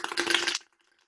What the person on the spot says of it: You know the coin is in there.